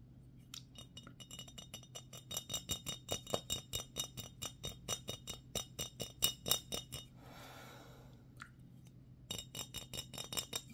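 A medium, clear glass mason jar with a screw-on metal lid, hollow and empty, is held in both hands and tilted while being tapped with fingertips and nails. Quick, bright glassy clinks with a ring near 3.7 kHz build into a steady rhythm. Around the seven-second mark the taps pause for a soft scraping rustle, then resume at the end.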